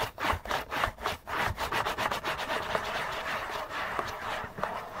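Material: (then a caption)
Cardboard. Fingers rapidly rub and scratch the side panel of a hollow, printed-cardboard Kleenex tissue box. Quick, uneven raspy strokes stand out at first, then blur into a steady, dense scraping hiss centered in the mids with some bright edge.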